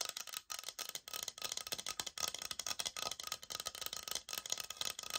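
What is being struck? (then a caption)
Laminate flooring plank. Long nails tap and scratch the surface of a brown laminate flooring sample, a solid board held upright. Quick, dry clicks and scraping rattles come in dense bursts, bright and thin with almost no low end, each tap dying away almost instantly.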